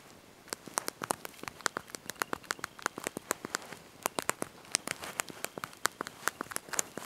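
Thumbs and fingertips press and tap the small backlit plastic keys of a handheld slide-out mobile phone's QWERTY keyboard while typing a message. A quick, irregular run of sharp, dry, bright clicks, each one stopping instantly, plays over a faint hiss with almost no low end.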